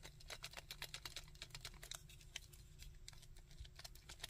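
Fingertips tap and click on the arms and mace-shaped fist of a chunky hard-plastic Sandman action figure, making about 26 quick, dry, bright clicks in an uneven patter. Each click stops almost at once over a soft, steady low rumble.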